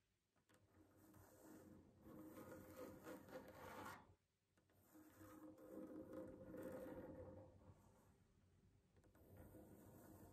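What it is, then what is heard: Wooden tabletop scratched with fingernails. Long manicured fingernails of both hands scratch and tap across a solid wooden tabletop. Quiet, raspy scratching with a mid-range tone swells in two long passes, briefly dropping away around the middle, then continues more softly.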